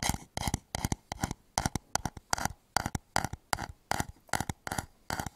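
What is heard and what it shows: Fingertips tap and scratch the outer wall of a medium, hollow, empty turned wooden bowl held upside down over the microphone. Short clusters of quick, dry, hollow knocks with a woody tone come in a loosely steady rhythm, with faint scratchy texture and almost no ring between them.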